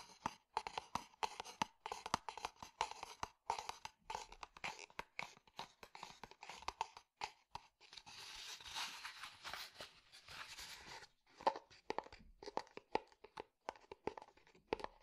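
A small, hollow, empty unglazed terracotta clay flower pot is held sideways and tapped rapidly with the fingertips, giving short, dry, hollow knocks with a ringing tone near 930 Hz. Midway through, the taps give way to a few seconds of steady, brighter scratchy rubbing before the quick tapping resumes.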